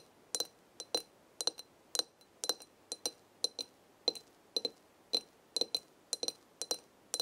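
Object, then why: Large glass jar of dried herbs. Long red nails tap the glass side of a large glass jar full of dried herbs, producing a steady series of quick, bright clicks, often in close pairs. Each tap is sharp and high-pitched with almost no ring, set against a quiet background.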